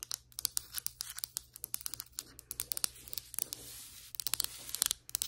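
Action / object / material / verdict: tap / ceramic floor tile tapped with acrylic nails / ceramic / none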